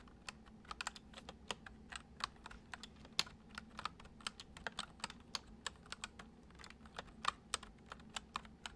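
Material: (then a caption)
Plastic. Fingertips of both hands type on a full-size white plastic computer keyboard with hollow keys resting on a wooden desk, the left hand on the letter keys and the right moving to the number pad. About 36 quick, bright, clacky keystrokes come in an uneven rhythm, each dying away almost instantly. A faint steady low hum sits underneath.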